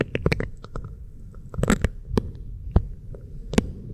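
Fingertips and nails rub and scratch an oiled pink silicone ear microphone and its base. A dense, muffled low rumble is broken by sharp, brief scratchy clicks and crackles that flash bright before dying away almost instantly.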